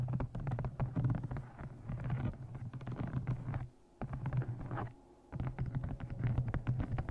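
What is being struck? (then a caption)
Leather-bound journal. A brown embossed leather journal with a blue stone and a metal clasp is held, then tapped with long nails. Rapid, dull, low-pitched taps and scratchy flurries run throughout, pausing briefly near 4 seconds and again around 5 seconds before resuming.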